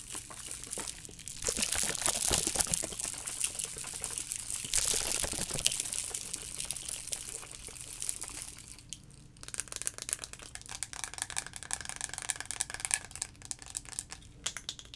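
A clear plastic sensory tube with blue end caps, filled with liquid and colorful shapes, is shaken and tapped with fingertips and nails. Bright, crinkly sloshing swells in louder bursts during the first half. It then gives way to a steadier stream of quick, light clicking taps.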